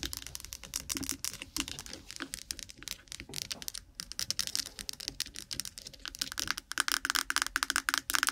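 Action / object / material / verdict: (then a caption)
tap / small plastic jar with lid / plastic / none. A small, lidded white plastic jar of Vaseline petroleum jelly, apparently full, is held close to the microphone and rapidly tapped and scratched with long nails on its lid and body. The result is a dense, continuous run of sharp, bright clicks and rough scratching with almost no low end. In the second half, a faint tone rings near 1.5 kHz under the taps.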